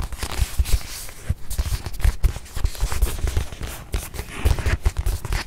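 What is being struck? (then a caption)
Small stuffed leather watch pillow. Long nails tap and scratch the leather face of a small stuffed white leather watch pillow held in one hand. Rapid, dull, low thuds come in uneven clusters and die away almost instantly, with faint scratchy brushing between them.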